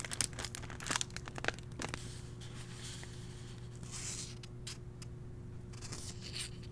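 Fingertips and nails rub and brush along the printed page of an open hardcover novel with thin paper pages. Dry, bright scratching and crinkling strokes come in sharp bursts during the first two seconds, then settle into softer, steady brushing. A constant low hum runs underneath throughout.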